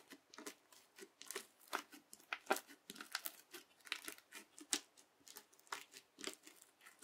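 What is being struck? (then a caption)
Bead slime pressed with a plastic knife. The edge of a yellow plastic knife, pressed under a fingertip, pushes down repeatedly into a flat teal bead slime to crunch the beads. About twenty quiet, crisp crunching crackles follow one another in an uneven rhythm, each bright and dry with no low end and almost no ring.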